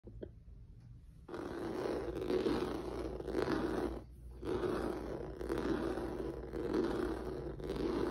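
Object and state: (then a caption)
Rubber noodle-texture mat. Fingertips and nails of a hand wearing rings scratch across a flat black mat with a dense, squiggly noodle-like rubber or vinyl surface on a yellow backing, lying on a wooden table. After a near-silent first second, a steady, raspy scraping rises, with a low-mid rubbery drone and a faint bright hiss. It swells and fades in long strokes, with brief dips in between.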